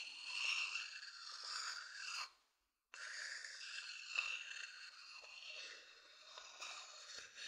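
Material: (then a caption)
Wood. A thin wooden stick scratches the outer surface of a medium hollow wooden bowl, making a dry, bright rasping sound with no low end. The scraping runs continuously for about two seconds, stops briefly into silence, then resumes and continues steadily to the end.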